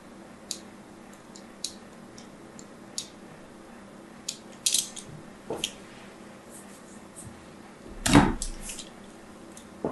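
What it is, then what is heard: Bar of soap scratched with a needle tool. A solid orange and white striped bar of soap is turned in the hand and scratched with a thin needle tool. Short, bright scratchy ticks sound over a quiet background hum, with a longer, louder rasping scrape near the end.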